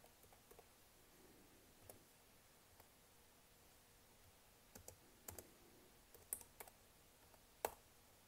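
Long nails and fingertips tap repeatedly on the black plastic keys of a laptop keyboard. The sharp, dry clicks are quiet and scattered at first, then come in louder clusters toward the end, each dying away almost instantly.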